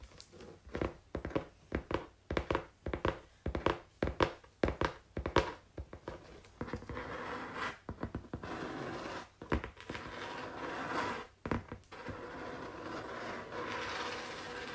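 Long pink-painted fingernails tap and scratch on a flat brown corrugated cardboard sheet. A run of quick, dull, uneven taps comes first, then gives way to longer stretches of steady dry scratching across the surface, broken by a few more taps.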